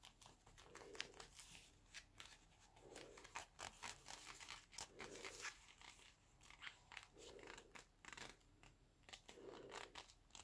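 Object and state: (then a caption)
Leather gloves creaking. Black leather gloves on both hands are rubbed, squeezed and clenched together, producing soft, bright leather creaks and crinkles. A metal wristwatch is worn on one wrist. A low, muffled swish recurs about every two seconds beneath many quick, close creaking bursts.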